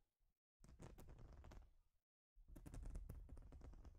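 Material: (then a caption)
Plastic. Long nails scratch and tap across a large, flat plastic Lego-style baseplate with studs, a thin solid sheet. Two dense bursts of rapid, irregular scratchy clicks are heard, separated by a brief silence, with a dull, low-heavy tone and short decay.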